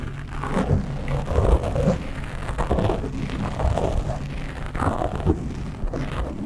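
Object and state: Foam microphone windscreen being scratched.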